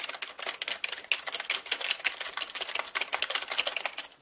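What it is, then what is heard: Plastic mechanical keyboard. Fingertips of both hands type quickly on a black mechanical keyboard with plastic keycaps, producing a dense run of sharp, bright clicks with almost no low end. Each keystroke is a short, crisp tick centred around 2.8 kHz, and the rapid clatter continues steadily before trailing off at the end.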